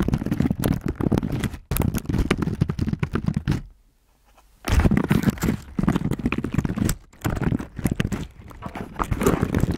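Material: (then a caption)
Plastic. Fingertips of both hands type and press through a layer of dark blue slime spread over the keys of a slim black plastic keyboard lying flat on a table. Dense, sticky crackling taps and squelchy clicks run almost continuously, heavy in the low end, with brief breaks and one near-silent pause of about a second partway through.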